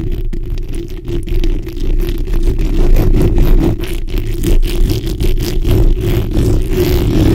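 The black, hollow metal mesh head of a microphone is scratched from both sides with the backs of long nails. The result is a continuous, dense, low rasping scrape with a steady tone around 316 Hz and rapid, close-set strokes, with almost nothing bright above it.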